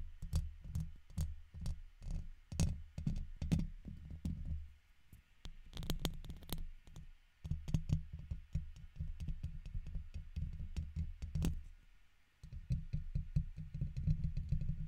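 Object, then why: Metal mesh microphone grille and plastic guitar pick. A red plastic guitar pick scratches the top and side of the hollow metal mesh grille on a silver condenser microphone. Close, boomy, low-heavy scrapes and taps come in quick irregular bursts, with brief bright crackles and two short lulls.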